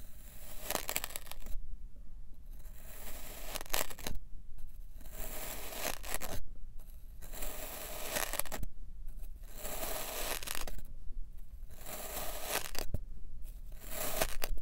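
A white ceramic knife with a black handle slices down repeatedly through a solid, flat round disc of kinetic sand with a green and purple rim and a red waffle-pressed top, resting on a white surface. Each cut gives a bright, grainy, crunchy tearing scrape, separated by short quieter pauses over a steady low rumble.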